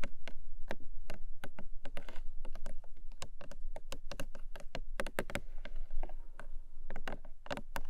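Long acrylic nails tap and scratch along the top of a small, long, closed, hollow printed cardboard Emi Jay product box. A quick, uneven run of short, dry taps sounds with brief scratchy strokes over a steady low hum. Each tap cuts off almost at once.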